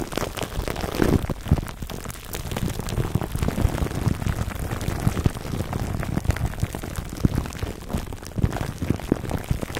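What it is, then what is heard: Plastic cling film crinkled over a foam mic cover. Hands rub, then fingertips scratch clear plastic cling wrap stretched over a black foam microphone windscreen. The result is a dense stream of close, low-heavy crinkles and scratchy pops with sharp transient spikes, like soft rain.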